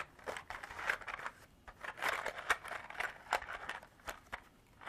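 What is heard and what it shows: Long artificial nails tap and scratch a small clear hard-plastic container held in the hand, partly filled with small beads that rattle inside. The result is a quick, uneven series of sharp clicky taps and dry scratchy crackles, centered in the mids around 1–2 kHz with bright edges and almost no low end, each tap dying away almost instantly.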